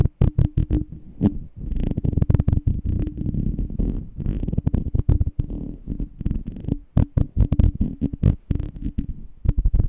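Fingertips and short nails tap and scratch the side of a small, clear, seemingly empty glass jar with a black label and a metal rim, held in one hand. Rapid, dull, low-pitched taps and soft scraping follow one another closely, each dying away almost instantly, over a faint steady hum.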